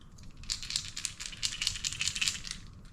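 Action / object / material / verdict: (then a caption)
shake / plastic topwater fishing lure with rattle beads / plastic / none. A plastic topwater fishing lure fitted with a feather tail is picked up and shaken, and its internal rattle clicks repeatedly in bright, dry bursts. The rapid rattling rises and falls over about three seconds before tapering off.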